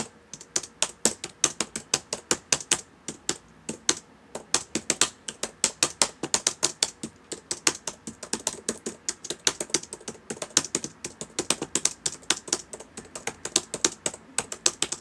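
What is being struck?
Plastic laptop keyboard.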